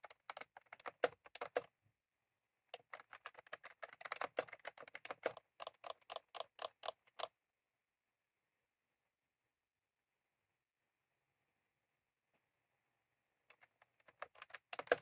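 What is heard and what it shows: Fingertips of both hands type on a white/cream plastic retro computer keyboard with round typewriter-style keycaps, resting on a desk. Rapid, crisp, mid-pitched plastic clacks come in bursts, with a short pause near two seconds. A long silence of about six seconds follows before the typing resumes at the end.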